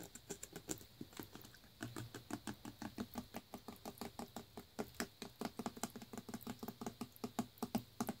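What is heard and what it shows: Fingertips and nails tap quickly and lightly on a full clear plastic Naked juice bottle filled with green smoothie and topped with a blue screw cap, working around the shoulder, neck and label. Each tap is a short, dry knock with a faint hollow tone and a bright clicky edge from the nails. The taps die away almost instantly as they build into a steady patter.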